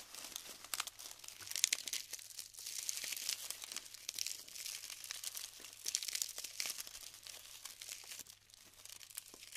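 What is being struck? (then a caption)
Glued styrofoam bead clusters. Hands press into clumps of glued styrofoam balls on a tray and crumble them apart. A dense stream of bright, crisp crinkles, crackles and small snaps runs throughout, with almost no low end. There are louder bursts of crumbling along the way.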